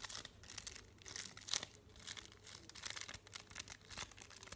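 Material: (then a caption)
Paper. A solid, flat chocolate bar in a printed paper wrapper is held in both hands while fingernails tap quickly across its front and edges. The result is a quiet stream of rapid, bright, crisp papery taps and crinkles with very short decays and little low end.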